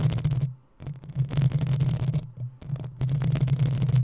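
Long acrylic nails of both hands scratch the rounded, hollow metal mesh grille of a black USB condenser microphone. The result is dense, crackling scratch noise with a heavy low rumble and a bright hiss, coming in three long bursts separated by short pauses.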